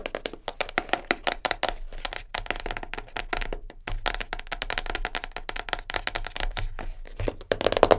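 A small, closed black printed cardboard jigsaw puzzle box full of pieces, resting on a fur rug, is tapped fast with long nails. The rapid, irregular stream of sharp, dry clicks has a hollow mid-range knock beneath bright nail ticks, and each tap dies out almost instantly with no ring.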